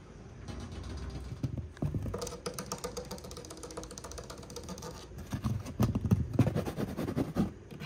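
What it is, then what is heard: Wood-grain laminate shelf divider. Fast fingertip tapping on the solid dark brown wood-grain laminate divider panel of a cube storage shelf. It makes a rapid, irregular patter of dull, low knocks with almost no ring. The tapping grows louder and more forceful toward the end.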